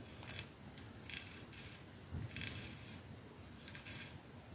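Long nails scratch and rub along the embossed silver middle band of a capsule-shaped glass perfume bottle resting on a dark surface. Quiet, bright scraping bursts rise over a soft low rumble, with a few slightly louder scratches in between.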